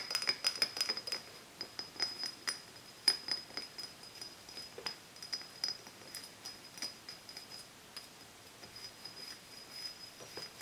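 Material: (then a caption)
Glass. Fingertips and medium-length nails tap and scratch along the body and paper label of a small, mostly empty glass bottle of Japanese cider with a metal cap, held over a book. A long run of quick, light clinks and soft scratches sounds, each with a thin, high glassy ring that dies away almost instantly. It is busiest at the start and grows sparser and quieter toward the end.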